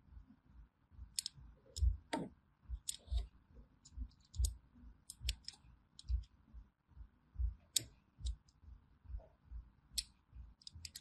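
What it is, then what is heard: Bar of soap being scored. A small thin metal blade scratches and cuts diagonal grooves into a solid orange bar of hand soap held in the hand. Soft, low, dull thuds come at an uneven pace, mixed with short, crisp, bright scraping clicks that die away almost at once.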